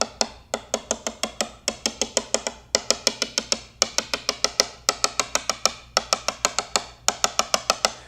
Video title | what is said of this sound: Membuat Gitar Listrik Model Telecaster Thinline Part 9 | you want a nice uniform sound like that. If you end up getting like a dead clunk sound, then you know something's not seated right